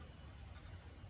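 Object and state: Nothing is struck.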